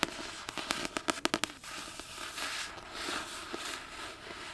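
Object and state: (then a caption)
Paperback book. A solid Chamber of Secrets paperback with a glossy card cover is tapped with long painted nails, giving a quick run of sharp, bright clicks in the first second and a half. Softer, hissy scratching across the cover follows, with an occasional faint tap.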